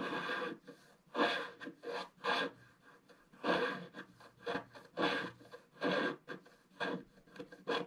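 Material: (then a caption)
Coated paper. A wooden stylus scratches across a large area in the lower right of a flat, black-coated scratch-art card. It makes repeated, irregular bursts of dry, raspy scratching, each a broadband rustle with bright edges and short pauses between strokes.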